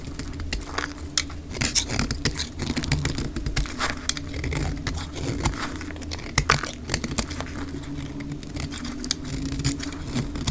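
A solid pink dry soap bar, held in the hand, is shaved into curls with a metal utility-knife blade, with the audio sped up to double speed. Quick, dry scraping and crackling strokes follow one another without pause, with bright crisp edges over a steady low hum underneath.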